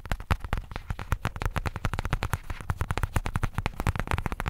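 Fingertips and nails rapidly tap and scratch the grainy surface of a flat, soft-sided black pebbled faux leather zip case. The result is a dense, steady stream of short, dry, low thuds with a faint scratchy texture and almost no ring.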